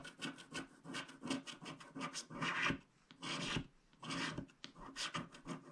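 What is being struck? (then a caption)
Coated paper scratch card and wooden stylus. A wooden stylus scrapes the black coating off a flat black-coated paper scratch card, revealing the teal layer beneath. Dry, raspy scratching strokes come in irregular bursts, some quick and short and some longer, with a bright, hissy texture and quiet gaps between them.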